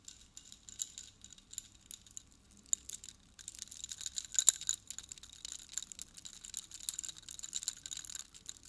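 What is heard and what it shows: A hand in a black fishnet glove with blue painted nails shakes and handles a necklace of silver-colored metal chains hung with long, hollow-looking metal spike pendants. The spikes and chain links jangle against each other in a quiet run of bright, high metallic clinks and chimes, sparse at first and then denser from about the middle on, each clink dying away almost at once.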